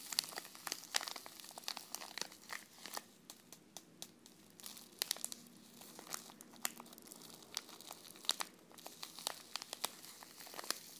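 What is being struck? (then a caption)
Paper tea sachet with a tea bag inside. A small, flat Belle France tea sachet, a paper-like wrapper with a tea bag inside, is held in both hands and handled and crinkled by long painted fingernails and fingertips. The result is a quiet, continuous bright crinkling, dotted with many sharp, dry ticks and taps that stop dead with no ring.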